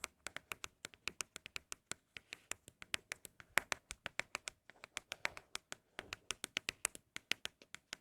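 Empty Apple product cardboard boxes are tapped for ASMR in a quick, irregular run of 48 crisp, dry taps. Each tap is bright, with almost no low end, and dies away instantly. The boxes are said to sound especially good.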